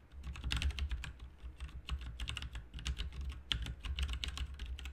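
Both hands type rapidly with their fingertips on a full-size, backlit plastic RGB mechanical keyboard with plastic keycaps resting on a desk mat. Quick, bright key clicks and clacks run in a dense, uneven stream over a steady low hum, each click dying away almost instantly.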